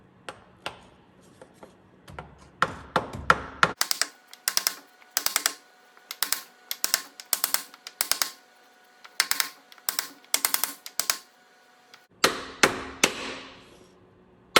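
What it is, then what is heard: Oil seal not yet fully seated. A new rubber and metal rear output shaft oil seal is tapped into the transfer case of an 1988–98 Chevy 1500 through a small block of wood. The result is a long series of sharp, bright, clicking taps in quick bursts, with a faint high ring under some of them. The seal is not yet fully seated during this tapping.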